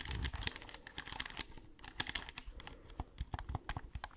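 Long nails tap and scratch a hollow white plastic gamepad with pink buttons and a touchpad, clicking over the buttons close to the mic. The result is a quick, uneven run of sharp, dry clicks and crinkly scratching with bright highs and a soft low thump beneath. Each click dies away almost instantly.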